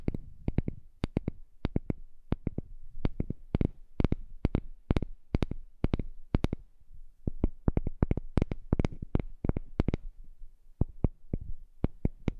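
A heart-shaped piece of wood is tapped in a quick, uneven series of short, dry knocks. Each tap is a sharp click with a low thump underneath that dies away almost at once.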